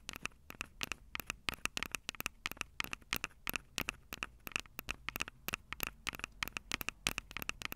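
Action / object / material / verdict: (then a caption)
tap / plastic handheld recorder with metal mic grilles / plastic, metal / none. Long purple acrylic nails scratch and tap the two metal-grilled microphone capsules of a Tascam DR-05 handheld recorder with a plastic body. A rapid, uneven series of sharp, dry clicks and scrapes sounds bright and crackly, with a steady tone near 2.5 kHz and very little low end. Each tap dies away almost instantly.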